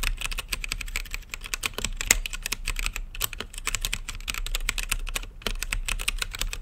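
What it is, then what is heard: Mechanical keyboard being typed on. Fingertips type rapidly on a blue-lit mechanical keyboard with plastic keycaps set in a clear acrylic case. The result is a dense, continuous stream of short, bright clacks that stop almost instantly, over a steady low hum.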